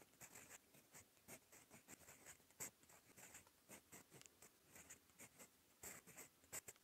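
A gold metal fountain pen nib scratches across a cream lined notebook page, writing in red-brown ink. Quiet, bright scratchy strokes come in quick bursts with short pauses, carrying a dry papery hiss and little low end.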